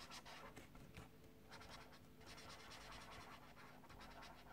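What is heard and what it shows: An orange colored pencil is scratched and rubbed across a paper page of a small paperback mandala coloring book lying on a desk, while the fingertips of the other hand hold the page down. The result is a quiet, continuous dry scratching with bursts of bright, gritty noise over a steady low hum.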